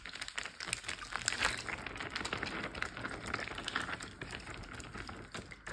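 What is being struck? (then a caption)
Water-filled plastic zip bag. Fingertips and short nails tap rapidly on the surface of a large clear plastic Ziploc bag full of water lying flat. The result is a dense, continuous stream of short, bright crinkly taps with soft watery slaps, each dying away almost instantly.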